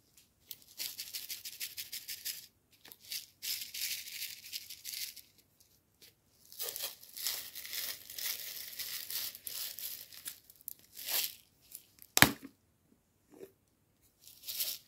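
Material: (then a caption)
Dried tea. A clear, ribbed plastic jar labelled Green Jasmine Tea, filled with dried loose tea leaves, is held in both hands, tilted and shaken, and by the end its lid is off. The leaves rattle and slide inside in bursts of bright, hissy, maraca-like shaking separated by short pauses. One sharp, louder click stands out near the end.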